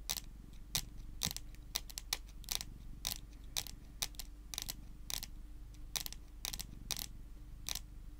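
Long green and pink nails tap and scratch the surface of a flat, solid, dark-varnished wooden tabletop. Sharp, bright clicks stop almost instantly, in quick irregular bursts over a steady low hum.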